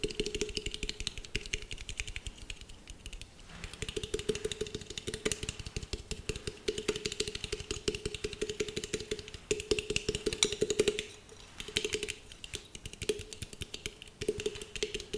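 Long nails rapidly tap and scratch a handheld glass jar with a metal lid, yellow star stickers and lights inside. Dense, bright clicking patters on over a steady low-mid hum, with brief quieter gaps around four and eleven seconds. Each tap dies away almost instantly.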